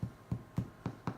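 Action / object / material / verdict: tap / sourdough bread loaf, tapped on the bottom / bread / hollow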